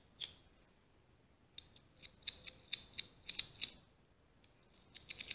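Long green-painted nails scratch over the ridges of a small ribbed scallop seashell held up close. About 15 short, dry, bright rasps with a high, crisp edge, like snipping scissors or a ratchet, come in irregular bursts over a quiet background, each stopping almost instantly.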